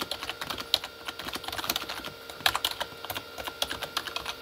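Both hands type fast with their fingertips on a full-size Corsair K35 plastic mechanical keyboard with red-backlit plastic keys. A steady run of sharp, bright keystroke clicks follows, with occasional louder taps. Each click dies away almost instantly, with almost no low end.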